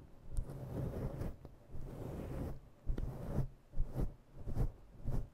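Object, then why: Faux fur microphone windscreen. Long nails grip and slowly scratch a fluffy faux-fur microphone windscreen. The result is deep, muffled, rumbling rustles that swell and fade in waves, with short scratchy bursts toward the end.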